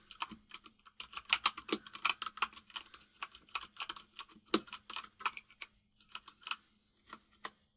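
Fingertips of both hands type on a full-size mechanical keyboard with white and grey plastic keycaps, producing some thirty quick, bright plastic clacks in an uneven rhythm. Each keystroke is short and dry, fading almost instantly, with a brief pause near the six-second mark before the typing resumes over a faint steady hum.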